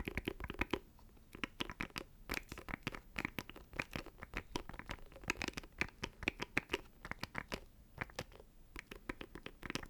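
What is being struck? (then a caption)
Small plastic audio interface box. Fingernails scratch and tap rapidly on a small, hollow black plastic audio interface held close to the microphone. The result is a dense run of sharp, crisp clicks and scraping bursts that spread from low thumps up to bright high edges, each dying out almost instantly.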